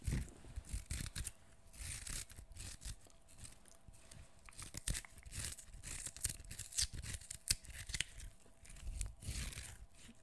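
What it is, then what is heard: Fresh cucumber being peeled. Fingernails scrape and peel the skin of a fresh, partly peeled cucumber, solid and fleshy, held close to the microphone. Repeated bursts of bright, crisp scraping and tearing come with soft low thumps over a faint steady hum.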